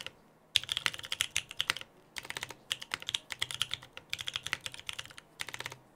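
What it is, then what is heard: Mechanical keyboard with PBT plastic keycaps. Two hands type with their fingertips on a Frog TKL mechanical keyboard with lubed Pewter switches, a dark case and white PBT plastic keycaps, resting on a desk mat. Quick runs of short, crisp, bright clacks come in four bursts separated by brief pauses, with very little low end and no ringing after each keystroke.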